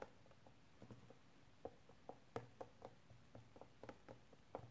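A small, hollow, clear hard plastic case is held upright in both hands and tapped and scratched with painted fingernails. The result is a quiet series of short, dry clicking taps with a light plastic ring around 470 Hz. Faint scratching fills the low background between them.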